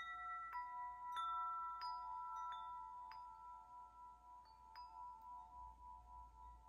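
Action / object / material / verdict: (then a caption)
tap / hanging metal tube wind chime / metal / none. Fingertips tap the tubes of a hanging hollow metal tube wind chime. Several bright, bell-like tones ring out and overlap, centered around 1.3 kHz with high shimmering overtones. Each tone rings on for about two seconds and fades slowly into the next.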